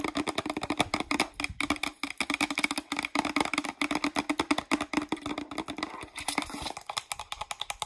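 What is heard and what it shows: Long nails tap quickly on the label and cap of a hollow green plastic Pert shampoo bottle. The result is a dense run of short, bright clicking taps with almost no ring and a steady hollow tone underneath.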